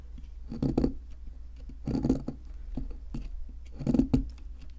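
A metal chisel scrapes the plaster around a fossil in a solid white plaster fossil excavation block held by hand. Three short, gritty scraping bursts of rough, crumbly scratches rise and fade over a steady low hum, with quiet pauses between them.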